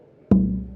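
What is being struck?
Spruce guitar top.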